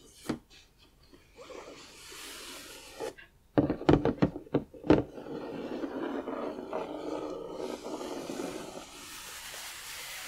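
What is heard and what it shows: Fingertips and nails scratch and rub across the printed surface of a large, flat cardboard box for a Diagon Alley 3D puzzle lying on a table. Soft, dry rasping fills most of the clip, broken midway by a quick burst of sharper taps before the steady rubbing resumes.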